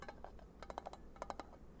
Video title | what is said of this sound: ASMR Triggers from Louisiana, my home state! [Soft Spoken Ramble] [Tapping] [Talking] [Variety] | nice sound it's nice for tapping